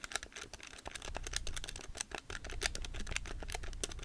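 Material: Plastic.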